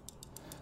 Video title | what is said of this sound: New Tech & Sick Price!? Steel Will Tasso | the disengaging pins which are matching to the cones of the thumb studs